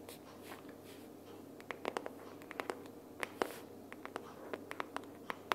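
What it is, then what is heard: Cardboard sticky-notes box. A closed pink printed cardboard sticky-notes box is held upright in both hands while long purple nails tap and scratch its cover. Sharp, dry, irregular clicks ring out over a faint soft scratching bed, with bright transients and almost no low end.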